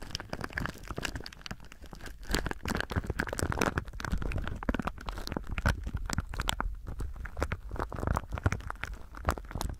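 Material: Plastic.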